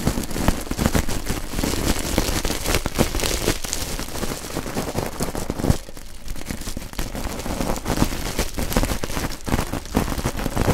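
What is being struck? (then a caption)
Coiled stainless steel scouring pad. A coiled stainless steel wool scouring pad, springy and hollow-textured, is pressed and crushed between two pencil microphones. Its metal ribbons give a dense, steady crackling crunch with a heavy low rumble, a brief quieter dip around the six-second mark, then renewed crackling to the end.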